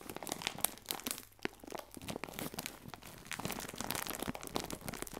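A clear plastic film bag full of biscuits is squeezed and turned sideways in the hands, giving dense, continuous crinkling with sharp crackles and crunchy rustles that span low to bright high tones. The sound stays close and busy throughout, with brief quieter dips between bursts of crinkling.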